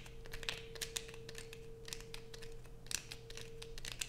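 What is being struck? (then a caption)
Bar of soap. Long nails scrape and peel thin curls from the edge of a light-blue bar of soap held close up. Quick, irregular bright scratching and crinkling sounds come one after another over a steady low hum.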